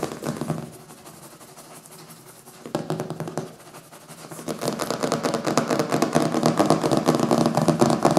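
Fingertips and nails rapidly tap and scratch the glossy printed back cover of a thick, solid hardcover book with a printed paper cover resting on a wooden table. Soft, dry taps and scrapes start fairly quiet, with a brief louder burst near the middle. The tapping then grows into a dense, busier flurry of scratching that stays loud to the end.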